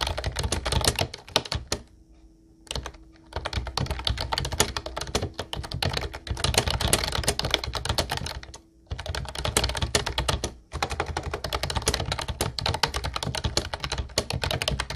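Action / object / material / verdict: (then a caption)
tap / plastic keyboard with round keycaps / plastic / none. Fingertips type steadily on a light blue plastic Ubotie retro keyboard with round white keycaps. The result is a dense stream of bright, clacky key clicks over low thuds, with brief pauses near 2 seconds and again around 9 and 11 seconds.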